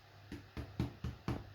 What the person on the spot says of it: they should have a nice hollow sound when you tap the bottom